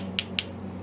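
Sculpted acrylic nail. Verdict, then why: Solid. A fully set, sculpted acrylic stiletto nail is tapped twice to check whether it has set, giving two short, sharp, solid clicks centered near 2.8 kHz over a steady low hum. The solid sound shows the nail is ready for form removal and filing.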